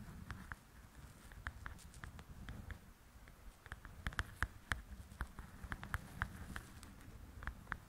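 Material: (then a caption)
Paper. Long acrylic nails tap on the cover of a softcover paper coloring book lying flat and solid. They make a run of short, dry, uneven clicks with a bright papery tick, over a low, steady background rumble. The taps stay light and quick, with a few sharper ones near the middle.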